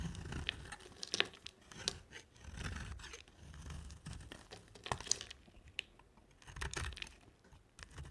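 A rectangular solid white bar of dry soap with a black coated surface is held in the hand and shaved into chunks with a box-cutter blade. Repeated crisp scraping and crunchy, crackling cuts are heard, with sharp bright snaps as pieces break away, separated by brief quiet gaps.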